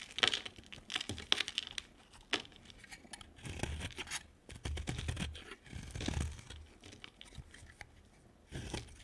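A utility knife blade scrapes and cuts a hand-sized, solid white bar of soap with a lime-green coat. Quick, bright, crisp scraping strokes come first, followed by longer, rougher shaving passes with a duller low crunch and gaps of near silence between them.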